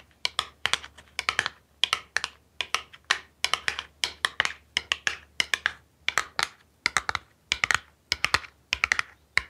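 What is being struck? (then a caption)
Small cardboard box. Long pink nails tap and scratch the surface of a small, hollow printed cardboard product box held in hands close to the mic. Rapid clusters of dry, bright clicks come in quick bursts with short pauses between them. Each click stops almost instantly, with no ringing.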